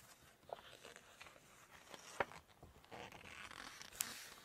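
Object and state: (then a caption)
Glossy paper cookbook pages. Long nails lift and turn a glossy page of a large open Chinese cookbook, then scratch and tap across its glossy photo pages. A soft, crisp papery rustle and swish runs throughout, broken by a few sharp, bright clicks with almost no low end.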